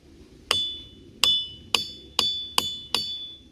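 A hammer strikes a boulder in the Ringing Rocks boulder field six times, each blow giving a sharp, bright metallic ring centered near 3.5 kHz that decays over a fraction of a second. The boulder rings well, producing a clear bell-like tone.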